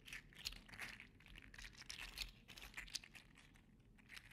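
A gold and green segmented 3D-printed PLA articulated slug toy is held in one hand and squeezed and flexed. Its joints give quick, bright plastic clacks and crinkly rustles that come in dense bursts with no ring.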